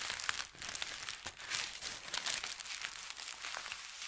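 A folded thin white paper sheet is rubbed with fingertips, lifted and crinkled, then pressed flat again. The result is dense, continuous crinkling and crackling that is bright and high, with almost no low end. Quick crisp snaps rise out of the steady rustle.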